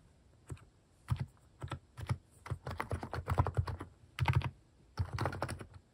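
Fingertips type on a plastic Hanmumu mechanical keyboard fitted with cat keycaps, producing irregular bursts of deep, thocky clacks. Single keystrokes alternate with quick runs, each press decaying quickly against a quiet background.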